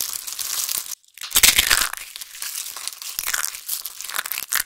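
Hands with long pink nails grab handfuls of thin, dried, pink and grey soap shavings and shards spread on a table and crush them in their fists. A dense, bright crackling and crunching fills most of the clip, broken by a brief near-silent gap around the one-second mark. The small, brittle pieces crumble into finer bits.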